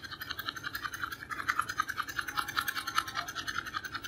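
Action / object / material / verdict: scrape / small cardboard box / cardboard / none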